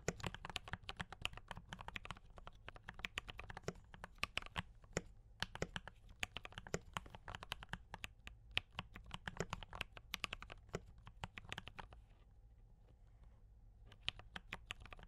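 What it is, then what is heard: Mechanical keyboard with plastic keycaps. Fingertips of both hands type steadily on a D84 mechanical keyboard with brown switches and cream and red plastic keycaps. The rapid, bright, dry clacks stop almost instantly, over a steady low background. The typing briefly pauses near the end, then resumes.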